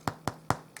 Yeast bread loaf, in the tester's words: it sounds nice and Hollow so this is done